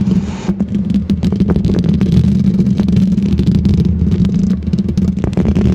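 Long green plastic fake nails scratch and tap the hollow metal mesh grille of a silver condenser microphone. A dense, low, rumbling scrape runs continuously, peppered with quick clicking taps. The sound stays steady and boomy, with little brightness.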